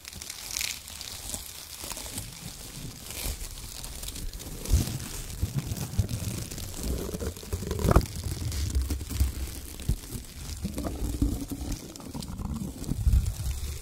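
Hands grab, squeeze and crumple bunches of brown shredded kraft paper, producing continuous soft crinkling and crunching with occasional sharper crackles. The sound is mostly low and muffled, with faint bright rustle above, and no clear gaps between the many small crackles.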